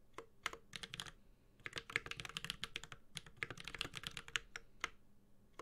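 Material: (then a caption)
Plastic, aluminium. A Space65 Cybervoyager 65% mechanical keyboard, with a white-gold aluminum case, plastic keycaps, a carbon fiber plate and Holy Panda tactile switches, is typed on steadily with the fingertips of both hands. The keystrokes are bright, crisp clacks centered around 3 kHz with little low end. They come in quick, dense runs separated by short pauses, and each one cuts off almost instantly with no ring.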